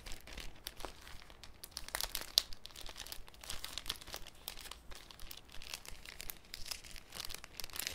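A thin, clear cellophane sheet with folded corners is held up and crinkled between fingers. It gives a quiet, irregular stream of bright, crisp crackles and snaps with no ringing, and a few sharper crackles stand out above the rest.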